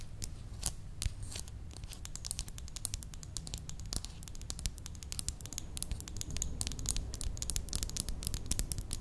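Long nails tap and scratch the facets of a faceted red glass perfume bottle with a clear cap and a ribbon, held in the hand. Quick, bright clicks and scratchy strokes come in a steady, dense patter over a low, constant rumble, each tap dying away almost at once.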